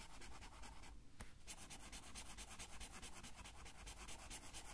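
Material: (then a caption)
Paper. A blue felt-tip marker colors a thin paper coloring sheet lying on a table and held by the left hand, rubbing back and forth in quick, steady strokes. The result is a quiet, continuous scratchy hiss with a bright, rhythmic texture over a low hum. The strokes pause briefly near the one-second mark, with a single sharp tick, before resuming.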